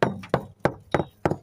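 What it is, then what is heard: Hollow fiberglass deck (delaminated core). Knocking along a cored fiberglass sailboat deck near the chain plate gives a series of dull, short, mid-low thuds with little ring. The spot sounds hollow, indicating a delaminated core.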